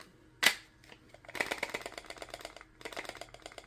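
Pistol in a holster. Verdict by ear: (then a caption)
Loose. A pistol sitting loose in a poorly fitting holster is shaken, and the gun rattles audibly inside it. A single sharp click comes first, then bursts of rapid, bright clattering taps with a brief pause between them.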